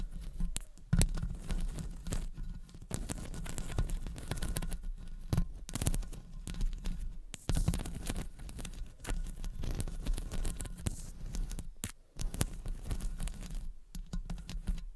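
Long acrylic nails scratch and tap across the hollow metal wire-mesh head of a studio condenser microphone while both hands cup it. The result is a dense, continuous rasping and crinkling texture with rapid, overlapping taps and deep, boomy low thumps, broken by a few brief quiet gaps.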